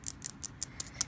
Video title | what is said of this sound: ASMR * 1 Hr of Water Tapping in a Jacuzzi 💦🐶💦 Compilation | I love the sound of these tiles. They're so good.